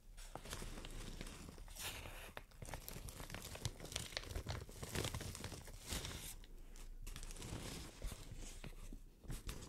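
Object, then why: Thin plastic shower cap. Long nails scratch and crinkle an opened white plastic shower cap, making a steady, dense crackle of bright plastic crinkles and sharp ticks over a soft low rumble. The sound swells and eases in short bursts without stopping for the whole clip.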